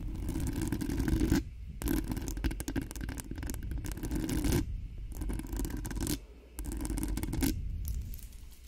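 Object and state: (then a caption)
Nails scratching and tapping a metal microphone mesh grille. Long acrylic nails rapidly scratch and tap the hollow metal mesh grille of a cream-colored Blue Yeti-style USB microphone. The result is dense, scratchy rasping with quick taps and a heavy low-end rumble. The bursts are broken by brief quiet pauses near 1.5, 4.7 and 6.3 seconds.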